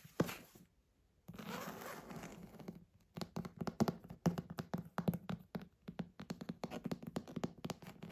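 Fingertips and nails tap and scratch the embossed dark leather cover of a large, thick, antique leather-bound bible, which is first held upright by its spine and then laid flat. A single dull thump is followed by a stretch of soft, scratchy rubbing, then a long run of quick, irregular, muffled taps. The taps are low and woody with almost no ring.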